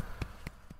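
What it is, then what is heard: Python belly with swallowed prey, hollow-sounding. Three gentle taps on the swollen belly of a Burmese python that has swallowed a whole opossum give a soft, hollow, low thump. Each tap is short and quickly damped, with most of the energy below 200 Hz, a faint pitch near 100 Hz and a brief lighter click above it.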